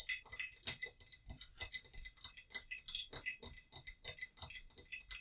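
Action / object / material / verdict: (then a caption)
tap / small ceramic vase / ceramic / none. A small, hollow, painted terracotta-colored ceramic vase holding dried lavender is held in both hands and tapped with long nails. About 28 quick, bright, clicky taps follow one another in a steady patter, each dying away almost instantly with only a faint high ring and almost no low end.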